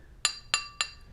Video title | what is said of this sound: Oregon 520-120 Chainsaw Chain Grinder Sharpener Unbox and Modification Spencers-Mountain Off-Grid | You can hear this metallic ring to that, indicating that that's a good wheel. If it had been cracked, it would have made a more hollow sound.